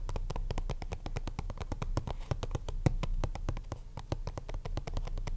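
Fingertips and short nails tap rapidly on the lid and sides of a small, hollow purple Ultra Pro plastic card deck box resting on a mat. The steady stream of quick, dry clicks has a low, hollow body, and each tap dies away almost instantly.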